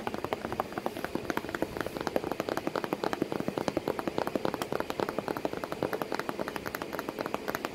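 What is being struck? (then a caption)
Corrugated cardboard box. Long stiletto nails tap and scratch near the crease line of a corrugated cardboard box flap while a cat sits inside the box. A rapid, steady stream of short, dry, hollow taps centered in the midrange around 520 Hz is heard, with very little low or high content. Each tap dies away almost instantly, with faint scratching between them.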